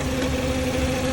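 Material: Nothing is struck.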